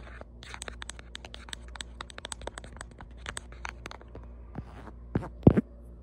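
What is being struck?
Ribbed silicone phone case.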